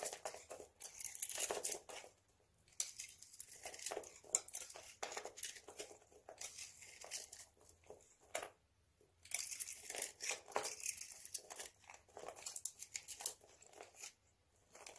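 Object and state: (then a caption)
Dry bar soap coated in nail polish. A hand-sized solid white bar of dry soap with a blue nail-polish coating is held in one hand and shaved and scraped with a utility knife blade, flakes crumbling off. Bursts of bright, dry crunching and crinkling scrapes come in irregular runs, separated by short near-silent pauses.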